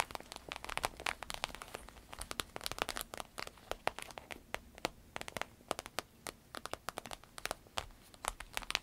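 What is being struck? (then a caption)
Vinyl-coated fabric purse. Long red nails tap, scratch and pinch the vinyl flap of a green paisley purse made of vinyl-coated fabric, its glossy surface soft and hollow as it lies flat. A quick, irregular stream of sharp, dry clicks and crinkly scratches is heard, bright and crisp with almost no low end. Each tap dies away at once against a faint background hiss.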